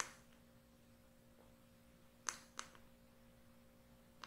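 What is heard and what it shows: A small, round, light wooden container, likely hollow, is held in the hand and tapped with fingertips and short nails. Three short, bright clicking taps stand out over a quiet, steady low hum, each dying away almost at once.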